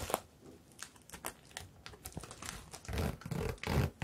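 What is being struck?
Sequin-covered fabric bag.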